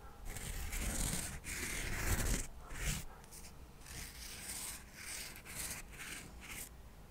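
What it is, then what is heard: Cork coaster stack. Cotton swabs are rubbed and scratched across the surface of a small stack of thin, square cork coasters held in one hand. The result is a steady run of dry, scratchy rubbing strokes with a bright, hissy texture and a soft low rumble underneath, swelling louder in the first few seconds before settling into quieter, uneven strokes.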